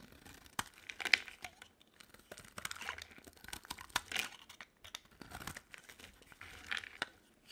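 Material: Soap.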